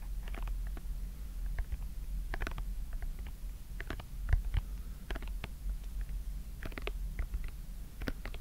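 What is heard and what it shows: Fingertips press and pop the colored hollow silicone domes of a simple dimple fidget toy with a white plastic frame, held in both hands. A steady stream of short, soft clicks and pops sits over a constant low hum, with a few sharper, brighter snaps standing out.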